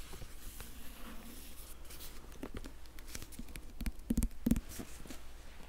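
Fingertips and nails tap and scratch the spine and covers of a Harry Potter hardcover book with a plastic library cover. Quiet, irregular soft taps and light scratching run over a steady low hum, with a few louder taps near the end.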